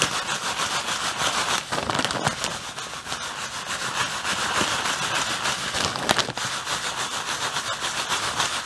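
A hand holds up a clear plastic bag full of white artificial snow while the fingertips squeeze and rub it, crinkling the plastic. A dense, bright, steady crinkle and rustle runs throughout, with a few sharper crackles standing out near the two- and six-second marks.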